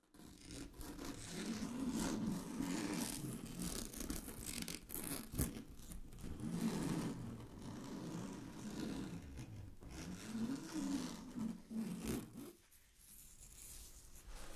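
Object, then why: Synthetic satin fabric sheet scratched with fingernails. Long glittery fingernails scratch a large sheet of shiny blue synthetic satin fabric lying flat on a surface. The result is a steady, rough scratching with a bright, airy hiss over a low rumbling texture, rising and falling in waves. It drops to a quieter, fainter scratching near the end.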